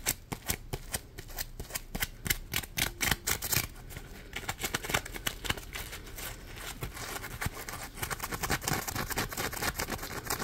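A hand-sized yellow smiley-face Scrub Daddy sponge made of polymer foam is gripped in both hands and scratched and rubbed with the fingers. It makes a rapid, irregular run of short, dry, bright scratching strokes with almost no ring, spaced apart at first and then merging into a denser, steadier rasp.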